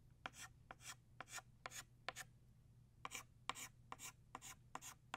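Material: Chalk.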